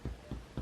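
Chest percussion over a healthy lung: a middle finger laid flat on the chest is tapped on its middle phalanx with the other fingers, giving three soft, low, hollow thumps about a quarter second apart. The resonant, barrel-like sound is the normal finding.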